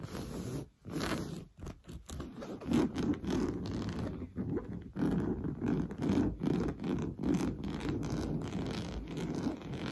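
Fingernails scratch rapidly over a soft, padded orange coarse-weave fabric sofa cushion. The result is a dense, dull, low-pitched rasping and scraping in quick bursts, with a few brief pauses between strokes and little high brightness.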